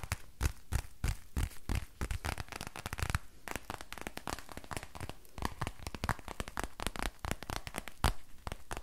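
A grey crinkly plastic book, held in one hand, is scratched with fingernails and squeezed. The result is a dense run of sharp, dry crinkling and crackling, with brief broadband snaps and a low thumpy body. No hit rings on.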